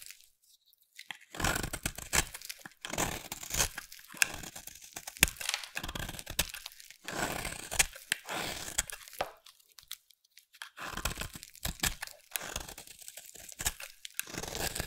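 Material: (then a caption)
Soap. A utility knife blade shaves a solid pink bar of soap held in the hand, peeling off flakes. The result is repeated bursts of dry, crisp scraping and crunching with a bright, high texture, separated by brief pauses between strokes.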